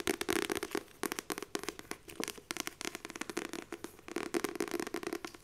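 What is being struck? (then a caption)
Paperback book with laminated cover. Long nails and fingertips rapidly tap the laminated cover of a glossy paperback book held close. The result is a fast, uneven run of sharp, bright clicks over a hollow low-mid tone, coming in dense bursts with short pauses between them.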